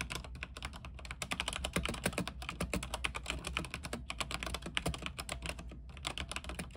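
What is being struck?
Mechanical keyboard with plastic keycaps on a metal case.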